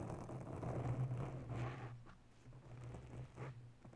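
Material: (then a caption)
Foam. Long nails scratch the top and sides of a grey foam windscreen on a microphone, making soft, muffled rustling and scraping over a steady low hum. The scratching is fuller in the first half, then thins to quieter, intermittent brushes.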